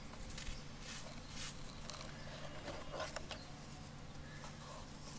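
Fingertips dig into loose, dry yellow sand and scatter the grains, then both hands rub and crush a small solid clump of sand over a container of sand. Soft, gritty crunches and brief bright rustling bursts sound over a quiet, steady low hum.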